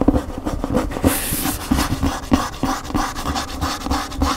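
Fingernails scratch along the glossy white back cover and spine edge of a large hardcover cookbook held upright, with a thick block of paper pages. Quick, irregular scratching strokes come with dull low thumps and a brief bright hiss near the middle of the clip.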